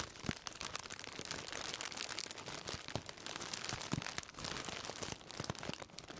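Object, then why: Plastic-wrapped bundle. A black plastic-wrapped bundle is held in both hands and crinkled and scratched with the fingertips. A steady, bright crinkling plays throughout, dotted with sharp crackles and little low end.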